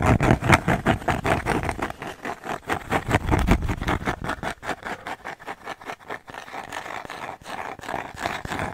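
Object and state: Cork coaster tapped and scratched.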